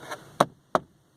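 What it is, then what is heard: Plastic interior trim of a pickup truck. Three sharp knocks on the plastic interior trim of a 2013 Ford F-150 pickup truck, an interior judged to be cheap plastic. Each knock is short and dry with a hollow midrange tap and almost no ring, and the last one is cut off at the end.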